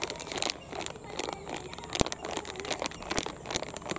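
A medium-size blue printed plastic Rin detergent pouch, soft and empty, is squeezed and crinkled with the fingertips, then held up flat. Dense, bright crinkling and crackling runs throughout, punctuated by sharp snapping pops, the loudest near the middle.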